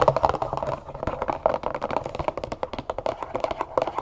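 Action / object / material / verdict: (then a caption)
tap / cardboard box of sugar / cardboard / none. Long nails rapidly tap and scratch the faces and top of a medium cardboard box of brown cane sugar, apparently full, set upright on a table. The clip is a dense run of quick, dry, papery taps with a hollow midrange knock and very little low end, each tap dying away almost instantly.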